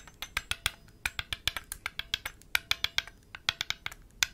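A palm-sized, blue enamel-painted hollow metal Chinese health ball (baoding ball) is cupped in one hand while the fingertips of the other hand, wearing metal rings, tap and rub its surface. About 25 short, bright, clicky taps land in an irregular rhythm, each dry and dying almost instantly, with a metallic tone centred near 3.2 kHz and almost no low end.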